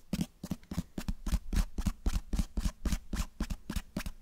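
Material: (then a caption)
Cloth, board. Fingertips tap and scratch the cover and spine of a closed cloth-bound hardcover book held close to the microphone. About twenty quick, dull taps fall at an uneven pace, each a deep, muffled thump that dies away almost instantly, with a faint, bright scratchy rasp on top.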